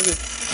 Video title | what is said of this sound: 다큐멘터리 3일 - Documentary Three Days EP216 # 005 | 이런거는 92.5% 약간 더 맑은 소리 나고